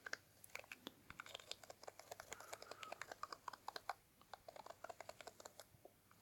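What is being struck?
Small cardboard box tapped and scratched with a wooden toothpick.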